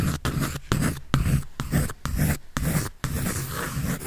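A pencil scribbles and shades across a large paper sheet on a sketch pad that is being held up. Short bursts of dry, scratchy friction come in a loose rhythm, with brief pauses between strokes and a heavy low rumble beneath a faint bright hiss.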